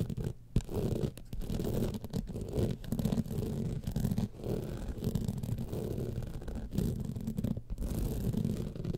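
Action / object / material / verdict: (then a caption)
scrape / rhinestone-studded evening clutch bag / rhinestones / none. Long nails scratch quickly along the studded top panel of a gold rhinestone-studded evening clutch bag lying on its side. The result is a steady, dense, low-heavy rasping scratch that comes in short bursts with brief gaps.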